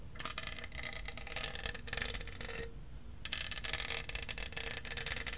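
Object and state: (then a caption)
Studded plastic tumbler. A tall, hollow, lilac studded plastic tumbler is held in one hand while fingernails scratch and rub over its studs. Two stretches of dense, bright, rasping scratching are heard, separated by a short pause near the middle, over a low steady rumble.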